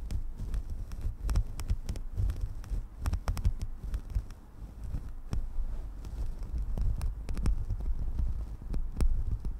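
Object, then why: Synthetic fur microphone windscreen. Long dark acrylic nails scratch and rake through a fluffy synthetic faux-fur windscreen with both hands; the windscreen sits soft and hollow over the capsule of a desktop condenser microphone. The result is a deep, muffled rumbling and throbbing, almost entirely low in pitch, broken by frequent sharp, brief crackling clicks.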